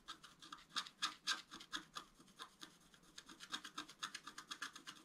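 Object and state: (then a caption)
Scratch-art card being scratched. A wooden stylus scratches water streams into a flat scratch-art card, black coating over colored foil, lying on a table. Quick, dry, raspy strokes repeat about four times a second, uneven in strength, with bright, hissy scratching and almost no low end. Each stroke stops dead with no ring, and the overall level stays quiet.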